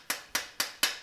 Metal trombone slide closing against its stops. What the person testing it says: you have that hard metal sound what it means is the felts that are up inside of this cork barrel up here are shot